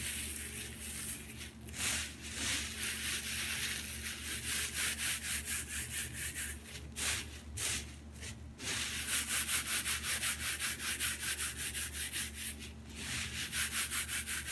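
Bare fingertips and palms rub, crush and scrunch a large loose pile of crisp dried green tea leaves with some stems on a table. The result is a dense, bright crackling rustle in uneven rhythmic strokes, with brief lulls partway through. A faint steady low hum runs underneath.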